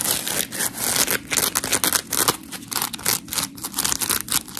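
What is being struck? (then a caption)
Polymer foam scrub sponge. Long pink nails scratch and fingers squeeze a dry, white, hand-sized smiley-face scrub sponge made of coarse, porous polymer foam with cut-out eyes. The result is a run of quick, gritty, bright scraping and crinkling bursts with almost no low end, each dying away almost instantly.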